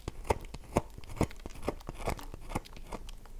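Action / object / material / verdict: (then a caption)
scrape / bar of soap / soap / none. Long nails scratch across the face of a solid, oval, dry bar of soap held in one hand, making crumbs fall. The result is a series of short, dry, crumbly scraping strokes at a steady, unhurried pace, with faint crinkly scratching between them.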